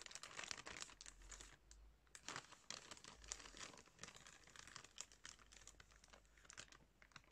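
Fingertips crinkle and squeeze a soft, clear plastic package full of cotton pads. Dense, quiet crackling and rustling sounds mostly bright and airy, with many short crisp crinkles rising and falling and a faint low hum underneath.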